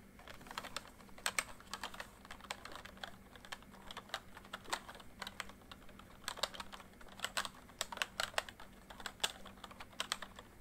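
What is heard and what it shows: Fingertips type on the letter keys and numpad of a full-size plastic MSI backlit membrane keyboard, producing a steady run of short, dry clicks and taps with bright, quickly fading attacks. A faint low hum sits underneath the typing throughout.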